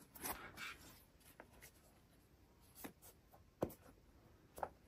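Fingertips and short nails scratch and rub the textured hexagon-pattern rubber/foam midsole and synthetic upper of a hollow, empty pink and black Adidas 1 Mid basketball shoe, held in both hands over its box while a second shoe rests untouched on the box. Quiet, dry scratching and rubbing is heard, broken by about seven short, sharper taps and scrapes.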